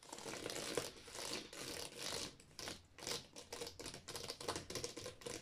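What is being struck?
Row of plastic game cases.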